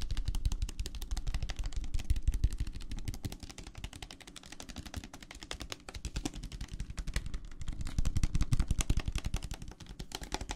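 Fingertips tap rapidly on the walls of a clear plastic tumbler full of teal gel water beads, making a dense stream of short, dull tapping clicks. The taps are mostly low and thuddy with a faint bright edge, rising and falling in loudness in waves across the clip.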